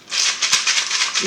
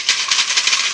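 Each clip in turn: First: A soft, hissy rattle of fine grains swishing inside a cup, surging with each shake. Second: A bright, busy rattle of hard beans tumbling inside a small plastic bottle, shaken in quick bursts.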